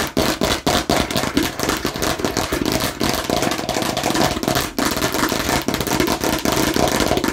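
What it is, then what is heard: Plastic watermelon-slice bottle. Fingernails rapidly tap and scratch on a hollow plastic watermelon-slice bottle held close up. The result is a dense, continuous stream of sharp plastic clicks with bright scratching and a slight hollow resonance.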